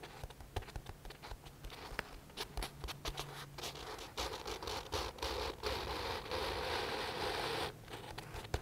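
Fingertips scratch and rub the printed paper pages of an open paperback book. Quick, uneven dry scratches come first, then build into a steadier, bright rubbing hiss that drops off near the end.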